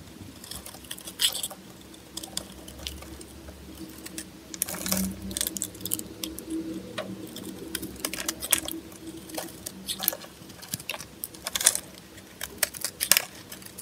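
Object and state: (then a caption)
Dry bar of soap being carved. A metal blade scrapes and carves shavings off the face of a solid green soap bar with white stripes, held in a hand with long painted nails. Dry, crisp, bright scraping and crackling come in many short, irregular bursts, with denser flurries around the middle and near the end. A faint low hum sits underneath.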